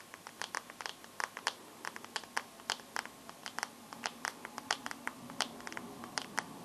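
Long nails tap and scratch the black glass screen of a bare teal Samsung phone with no case, screen side facing up. About 35 sharp, bright clicks come in an irregular rapid stream, each dying out almost instantly, over a faint scratchy hiss.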